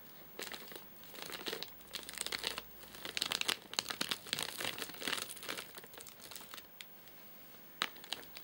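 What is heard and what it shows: Fingertips tap and scratch the top of a flat, sealed white plastic/paper-laminate nougat bar package with crimped edges, full of nougat bars and lying on a sofa. The result is a run of bright, dry crinkling and rustling with quick taps and scraping bursts that rise and fall with short quiet gaps. A sharp isolated tap comes near the end as the hand lifts away.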